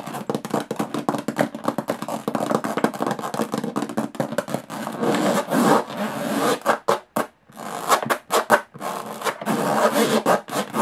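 Long fingernails scratch the textured metal lid of a small, hollow aluminum briefcase. Rapid, dense scraping strokes give way to slower, broader scratches with brief silent gaps. The sound is a dry, hollow scraping centered in the midrange around 580 Hz.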